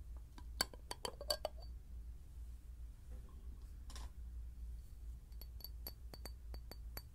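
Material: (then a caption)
Glass. A clear glass bottle is knocked with a series of short, bright clinks at an irregular pace, the early taps louder and the later ones lighter with a thin, high ring. A steady low hum runs underneath, with a brief softer pause in the middle.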